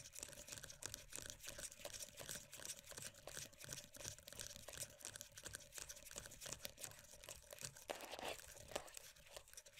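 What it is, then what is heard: Plastic moisturiser tub. Long nails rapidly tap and scratch the lid and rim of a closed, full, round plastic moisturiser tub. The sound is a dense, bright stream of quick clicks and scrapes with a crinkly texture and a faint steady tone near 600 Hz underneath. There is a slightly fuller scratching burst just after the eight-second mark.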